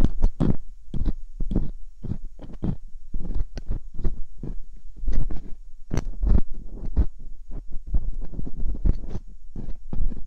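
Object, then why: Silicone ear of a binaural microphone, probed with a metal pick. Metal dental picks, held by hands with long pink nails, scratch and poke inside both soft silicone ear canals of a white binaural microphone. The result is a dense, irregular run of short, close-up scraping and crackling bursts with a heavy, muffled low-end thump. The quiet gaps between them are brief.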